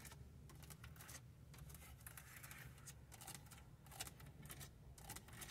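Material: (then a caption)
Plastic. Long nails tap and scratch across the front of a hard, hollow plastic car stereo face with buttons, mounted in the centre console. Quick, dry clicks and bright scratchy sweeps repeat over a low, steady rumble.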